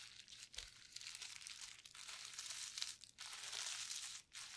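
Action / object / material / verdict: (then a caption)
scrape / plastic bubble wrap sheet / plastic / none. Gloved fingertips press, rub and pinch the hollow bubbles of a flat, clear plastic bubble wrap sheet coated with mixed paint on a table. The result is a quiet, bright, steady crinkling and crackling, broken by a few short pauses.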